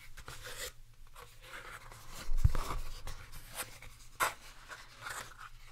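A small, square, translucent plastic food container with a lid, hollow and apparently empty, is held in the hands and tapped and scratched with fingertips and nails. Soft, close scratching and light tapping carry a low rumble throughout, broken by a louder dull thump midway and a sharp click shortly after.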